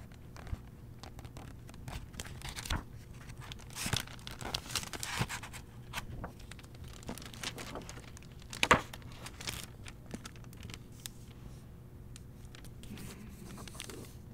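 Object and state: Hardcover book with plastic-covered dust jacket.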